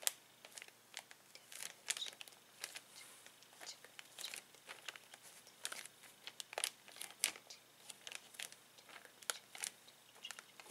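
A flat hand presses and rubs its fingers over a clear plastic zip bag holding plastic toy pieces, making crinkles. The result is quiet, bright, crisp crackling in many short bursts, with almost no low end.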